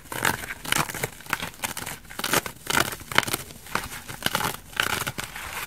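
A dry, elliptical bath sponge of coarse orange foam with a white foam layer is held in one hand and scratched and picked at with long dark nails, possibly starting to tear. Short, bright, scratchy crackling and tearing bursts come in quick irregular succession, each dying away almost instantly, with little low end.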